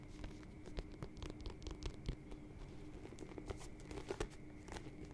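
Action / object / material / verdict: tap / smooth-leather lace-up boot with rubber sole / leather / none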